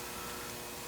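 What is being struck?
Nothing is struck.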